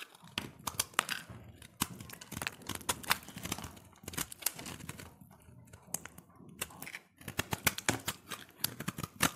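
A solid cream-white soap bar, held in the hand, is scraped with a utility knife blade. Dense, quick scraping and crackling strokes come in bursts with short pauses between them. The sound is dry and bright, with crisp transients that die away almost instantly.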